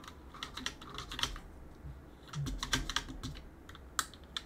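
A gloved hand runs a cotton swab near the space bar of a backlit mechanical keyboard with plastic keycaps and presses the plastic keys. The result is a quiet string of short, sharp clacks with a bright, clicky top and a soft low thump beneath, each dying away almost instantly, bunched in two clusters with a few stray taps between.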